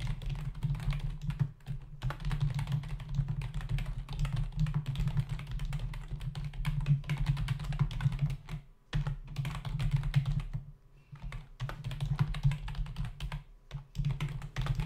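Fingertips of both hands type fast on a full-size black plastic membrane computer keyboard with hollow keys, resting on a desk. A dense, rapid clatter of short key taps runs over a steady low hum, broken by brief pauses near 2, 9, 11 and 14 seconds.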